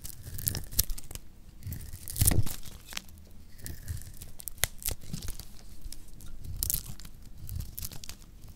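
A metal blade cuts and scrapes flakes off a solid orange oval bar of dry lacquered soap held in the hand. Scattered sharp, bright crackles and tearing crunches recur across the clip over a low rumbling bed, with a louder, denser scrape around the two-second mark.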